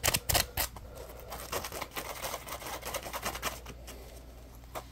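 Fingers squeeze and scratch a solid yellow textured polymer foam Scrub Daddy sponge held in the hands. A few loud, sharp, bright crackling snaps at the start give way to softer, rapid, irregular scratching and rustling with short, dry bursts.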